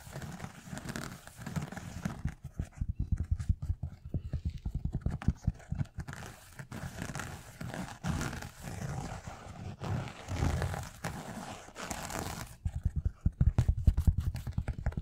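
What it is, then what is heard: Knit fabric sneaker. A white sneaker with a knit fabric upper is held close while fingertips and nails tap and scratch across the upper. The result is a dense, irregular run of soft, dry, low-pitched thumps mixed with brief fabric scratching, with very little ring after each tap.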